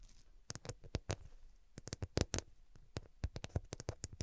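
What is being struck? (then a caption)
Glass-studded cushion. Long nails scratch and tap the faceted glass studs along the edges of a glass-stud-covered cushion held at both sides. A quick, uneven series of sharp, bright clicks and ticks rises over a soft low rustle. Each one cuts off almost instantly.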